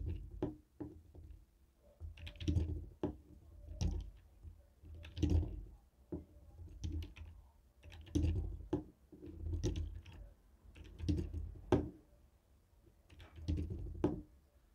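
A white and black hollow plastic TV remote control resting on a wooden table is tapped and rolled over with a jade stone face roller. The result is a steady run of short, dry plastic clicks and taps with a low, hollow body and brief bright ticks. The taps come in loose clusters over soft rolling rumble.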